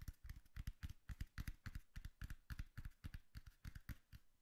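Long nails tap rapidly on the flat face of a hollow brown cardboard box held upright. About 29 quick, dry taps come in an uneven rhythm, each a dull low thump with a faint bright click that dies away almost instantly.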